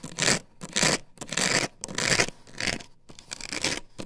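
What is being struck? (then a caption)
Plastic stencil template on wooden board. Long nails scrape across the patterned surface of an upright plastic stencil template glued to a wooden board. The result is a series of rapid, bright, hissy scratching bursts separated by short pauses, varying between louder and softer strokes.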